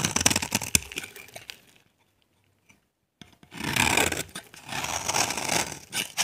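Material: Soap.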